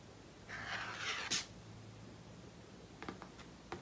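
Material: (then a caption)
Paper. Medium-length painted fingernails scratch and rub a single small, thin, flat glossy paper photograph of trees held in both hands. A second of bright, hissy scraping builds and ends in a sharp crackle, followed by quiet and a few short, crisp fingernail clicks on the paper.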